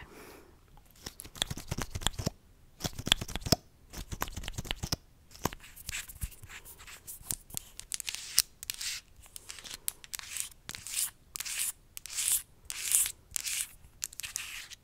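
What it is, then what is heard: Plastic mascara tube. A small, hollow, capped orange plastic mascara tube is held in one hand and scratched and tapped along its length with long acrylic nails. Bursts of crisp, bright scratching alternate with quick, sharp clicking taps that stop almost instantly, with brief quiet gaps between them.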